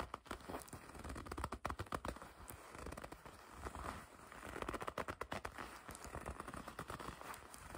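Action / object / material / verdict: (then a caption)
scrape / leather jacket / leather / none. A dark leather jacket is gathered in the hands while long red nails grip and scratch the leather. Squeaky, crinkling rustles come in a dense, uneven stream of quiet grabs and scrapes, with brief crackly bursts throughout.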